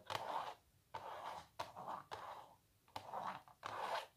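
Long nails scratch and tap across a small, hollow printed canvas stretched on a wooden frame. The result is a series of dry, rasping strokes with sharp onsets and a papery midrange texture, separated by short quiet gaps, with almost no low end.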